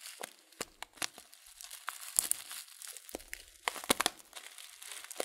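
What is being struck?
Paper tea packet with loose leaves.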